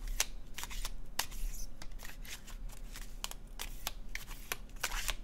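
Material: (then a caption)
Cardstock. A red-orange laminated cardstock tarot deck is shuffled in the hands with the fingertips, the cards sliding against each other. A quick series of short, crisp, bright flicks and soft rustles sits over a faint steady low hum, with no speech.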